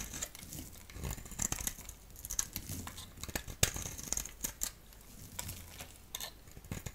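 A utility knife blade shaves flakes from a solid orange striped bar of soap held in the hand. The result is a quiet, steady run of crisp, bright scraping and crackling ticks, with a few sharper snaps over a soft low rumble.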